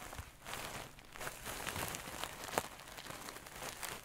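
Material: Satin fabric.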